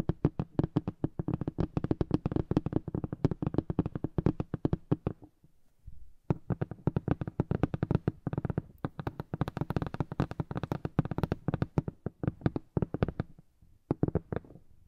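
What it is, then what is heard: Cardboard box tapped with fingernails. Long acrylic nails tap and drum rapidly on the lid of a large, flat, printed cardboard box for a KiiBOOM Phantom 81 keyboard, likely with the keyboard still inside. The result is a dense run of short, dull, low-pitched taps with almost no ring. The drumming stops briefly around the six-second mark before resuming in quick bursts.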